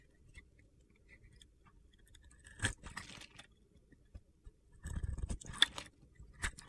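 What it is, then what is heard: Glitter-coated soap bar being carved. A metal cutter blade carves crunchy shavings off a solid purple-glitter soap bar with a teal interior, held in hand. Short gritty, crackling scrapes come in bursts with bright sparkly ticks and a faint low rumble, with quiet pauses between the cuts.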